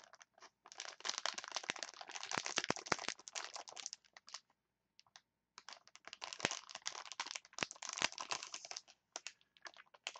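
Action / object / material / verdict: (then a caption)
scrape / clear plastic package of wooden chopsticks / plastic / none. A clear plastic package of wooden chopsticks is crinkled and scratched with long nails, making dense, bright crackling and scraping with sharp clicks. The rustling comes in two long stretches, broken by a brief near-silent pause with a few isolated ticks midway through.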